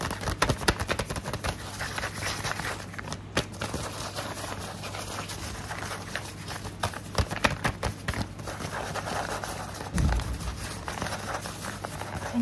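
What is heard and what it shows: Fingertips and nails tap and scratch a flat brown kraft paper envelope held in both hands, giving quick, dry papery clicks and soft scratchy rustles over a faint, steady low hum. A duller, deeper thump lands near the ten-second mark before the light tapping and scratching continue.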